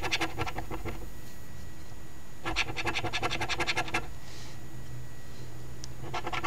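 A coin held in the fingers scrapes the latex scratch-off panels of a flat cardstock $5 Ontario Lottery OLG Very Merry Multiplier instant scratch ticket (#2465), while the other hand holds the ticket down. Quick, gritty scraping strokes come in three bursts, at the start, in the middle and at the end, with quiet pauses between them.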